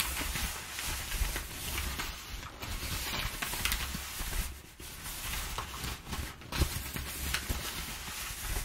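A large, thin sheet of loosely crumpled brown kraft packing paper lying on a wooden table is pressed and rubbed flat by two hands with long painted nails, using palms and fingertips. It gives a steady, dense crinkling and rustling with bright, crackly texture and a low hum underneath.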